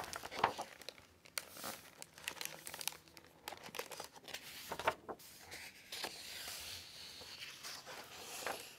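A large hardcover library book, *After the Civil War*, with a plastic-protected dust jacket lies open on a table while hands with long nails smooth and turn its matte paper pages. Soft, bright crinkling from the plastic jacket mixes with papery rustling and a few sharper crackles as pages are handled.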